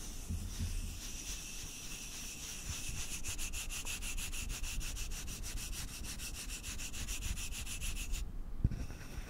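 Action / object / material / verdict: scrape / wooden button / wood / none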